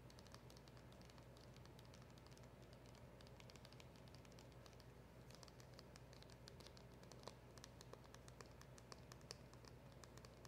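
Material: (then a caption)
Cardboard. Long acrylic nails tap and scratch the back and edges of a small, hollow, black printed cardboard box. Quick, bright clicks and light scratchy rustling patter continuously over a steady low hum, with a few slightly louder taps near the end. The sound is quiet and close, with short, dry taps.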